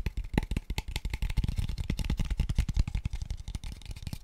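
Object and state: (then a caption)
Hollow light wooden tube box. A light, small, hollow, empty square tube box of pale wood is tapped rapidly with fingertips and nails. The result is a fast, uneven stream of short, dry knocks with a dull, low body and very little ring.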